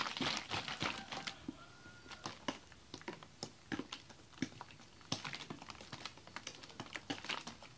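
A large clear ribbed plastic water bottle with a red cap, mostly full of frozen slush, is held in both hands and shaken. It gives an irregular run of sharp, bright clicks and crackles as the ice knocks against the plastic, with quieter rustling between the louder bursts.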